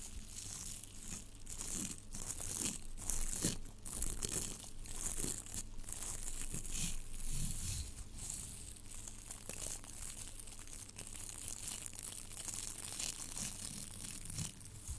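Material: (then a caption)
Plastic foil. Long, thin, sparkly blue tinsel strands of metallic plastic foil are held in both hands in front of the microphone and rubbed and crinkled between the fingertips, possibly brushing the mic grille. The result is a steady, dense crinkling and rustling with bright, crisp edges over a soft low rumble that swells and fades for the whole 15 seconds.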